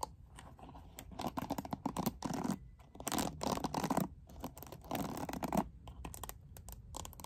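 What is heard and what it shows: Long nails scratch across the back and bristles of a lilac plastic hairbrush with a glitter-filled back panel. The result is bursts of dry, raspy scratching separated by short pauses.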